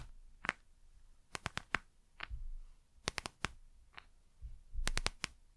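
Long nails scratch and click against the plastic face of a gel eye mask held in one hand. Sharp, bright ticks come in quick clusters of three or four, separated by soft, low rustling and handling noise.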